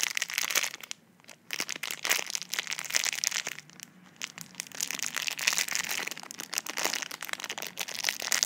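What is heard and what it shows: Fingers squeeze and crinkle clear plastic film wrapped around a slim tube, while long nails scratch the wrapper. The result is dense, bright crackling and crinkling with sharp snaps and almost no low end, broken by brief quiet pauses near the first and fourth seconds.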